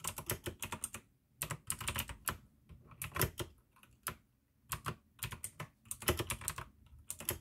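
Fingertips type fast on the keycaps of a full-size pink AUKEY plastic mechanical gaming keyboard with an RGB backlight, clicky blue switches and a hollow case. Bursts of sharp, bright clicks and lower, hollow clacks come in quick runs, with brief pauses between them.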